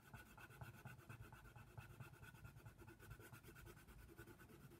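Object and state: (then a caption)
Colored pencil shading on paper. A brown wooden colored pencil rubs and scratches across a flat white paper page of a coloring book, shading the giraffe's nose area. Quiet, steady scratchy strokes repeat in a quick back-and-forth rhythm, with a soft low rumble under a thin, bright grain.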